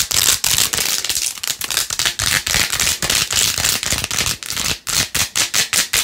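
Long nails scratch fast over the pink faux-pearl beads and rose-gold plastic rim of a plastic phone case. The result is a rapid series of bright, hissy scratching bursts with brief gaps between strokes and almost no low end.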